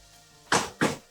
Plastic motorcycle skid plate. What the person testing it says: kalau saya ketuk-ketuk dan saya lihat di bagian sini lapisannya tebel sih. Tuh, kesannya solid banget itu